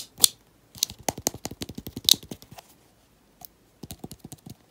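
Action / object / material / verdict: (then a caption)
tap / small plastic cosmetic tub / plastic / none. Lilac-painted fingernails tap and scratch quickly around the side and lid of a small round teal plastic cosmetic tub with a paper label and a rubber band wrapped around it, held in the hands. Rapid, bright, dry clicks come in an uneven flurry with almost no ring. A short pause follows, then another burst of lighter taps.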